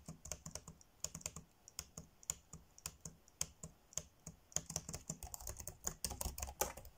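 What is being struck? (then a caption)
Plastic laptop keyboard keys. Fingertips tap fast on the dark grey plastic chiclet keys of a laptop keyboard, typing. A quick, uneven stream of short, bright plastic clicks with soft low thuds beneath, each dying away almost at once, grows denser toward the end.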